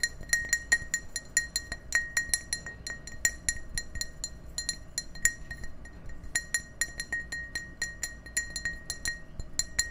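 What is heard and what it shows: An empty, clear, ribbed drinking glass, hand-sized and hollow, is held in both hands and tapped with fingertips and nails in a quick, uneven series of light clinks. Each tap gives a bright glassy ping centered near 1.9 kHz with high overtones and dies away almost at once, over a faint low background hum.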